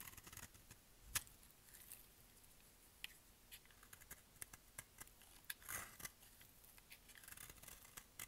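A solid light-green bar of dry soap, held in one hand, is carved with a utility-knife blade, shaving off curls and flakes in repeated cutting and scraping strokes. The result is a quick series of short, crisp, bright clicks and scratchy scrapes with almost no ring, over a quiet background.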